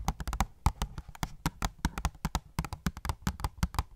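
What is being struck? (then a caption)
Cardboard box with clear plastic window. Fingernails tap rapidly on the clear plastic window of an opened, hollow cardboard phone case box. The taps are short and dry, with a dull, low, hollow thump and a faint bright click, each dying away almost at once.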